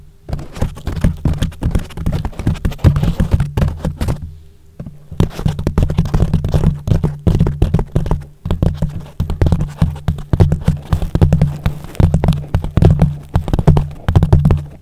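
Fingertips of both hands tap quickly on a yellow foam windscreen covering a microphone. The result is a dense run of soft, muffled, low thumps with a deep rumbling body and almost no bright content, broken by a brief pause about a third of the way in and a shorter one just past the middle.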